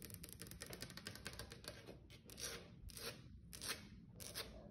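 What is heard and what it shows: Long acrylic nails on one hand tap and scratch a flat, solid wood-grain tabletop, possibly laminate. Quick, bright clicking taps come in a dense run for the first two seconds, then give way to slower, broader scraping strokes. The sound is quiet, with a low steady hum underneath.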